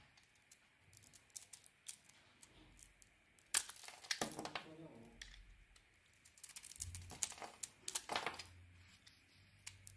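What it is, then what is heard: Bar of soap being scraped. A solid white bar of soap with a glossy dark blue coating is held in the hand while the coating is scraped and carved off with a utility knife blade. Quiet, bright, crisp scraping and crinkly ticks sound in rapid succession, swelling into denser shaving bursts in the middle and near the end. Each cut is short and dry, with almost no ring.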